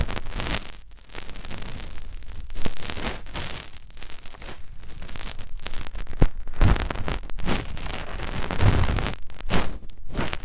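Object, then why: Silicone ear of a binaural microphone. A finger is inserted into the canal of the soft silicone ear on a white binaural microphone and rubbed around inside it. The result is a close, muffled stream of scratchy rubbing and crackling that is mostly deep and low. Occasional stronger thumps come through.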